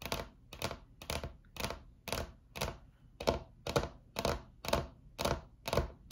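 Long acrylic nails tap with both hands on a solid, flat white laminate tabletop. Short, crisp clicking thuds come in quick bursts at a steady rhythm of about two per second. Each tap has a dull low body, a bright click and almost no ring.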